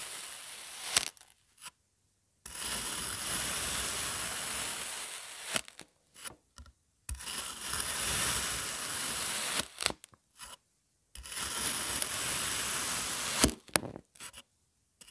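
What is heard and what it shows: A long thin metal blade presses down through a flat, solid, hand-sized sun-shaped mold of blue kinetic sand, cutting it into slices that fan out behind. Three long, bright, grainy crunching passes are heard, separated by short silences with a few small clicks and taps.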